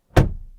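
A 2023 BMW X1 door is shut and heard from inside the cabin, giving a single deep, solid thunk. The low, muffled thud fades quickly, and the door sounds solid.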